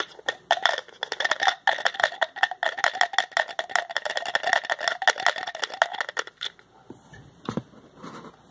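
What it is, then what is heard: Plastic pill bottle cap clicking. Fingertips twist and click the white plastic child-proof cap of a small white plastic pill bottle with a blue label, with a rattle suggesting contents inside. A rapid, uneven run of sharp, bright clicks rings around 1.8 kHz for about six seconds. A few softer scrapes and a duller knock follow.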